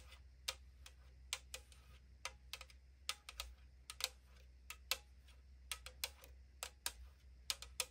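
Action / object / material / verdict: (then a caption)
tap / aluminum drink can / aluminum / none. Long acrylic nails tap the side wall of a tall 500 ml aluminum drink can lying on a table. There are 22 quick, bright, hollow, thin-metal clicks that die away almost instantly, at an uneven pace over a faint low hum.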